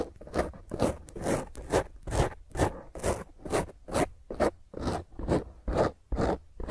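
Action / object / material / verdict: scrape / foam microphone windscreen / foam / none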